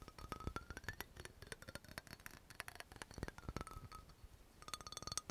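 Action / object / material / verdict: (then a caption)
tap / small glass dropper bottle with cap / glass / none. Rapid tapping with long nails on an amber glass dropper bottle with a yellow label, striking both the glass and the cap. The clicks come in quick, dense bursts with short, bright glassy ticks and a faint high ringing tone that drifts in pitch.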